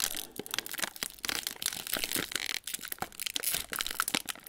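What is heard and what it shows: Fingertips of both hands crinkle and pull open the folded top of a hollow metallised plastic/foil Ritz cracker sleeve with crackers inside. A dense, bright run of dry crinkles and sharp crackles goes on with almost no low end, dipping briefly only now and then.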